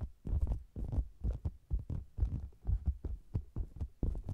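Fingertips and long nails tap and scratch the sides of a round, hollow faux leather cosmetics bag with a mic inside it. The result is a quick, uneven run of deep, muffled thumps, almost entirely low and boomy, like a throbbing heartbeat. Each thump dies away quickly.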